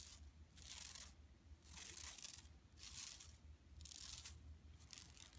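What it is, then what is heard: Plastic mesh shopping bag being scratched. Long nails scratch across a flat, empty yellow woven plastic mesh tote bag lying on carpet. A series of rough, bright, hissing scrapes rises and fades in repeated strokes with short quieter gaps, over a faint low hum.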